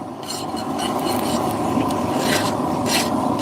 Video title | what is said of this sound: FORGING KNIVES LIVE! | Dull, high pitched. That means it's hardened. Or hardened enough for our purposes.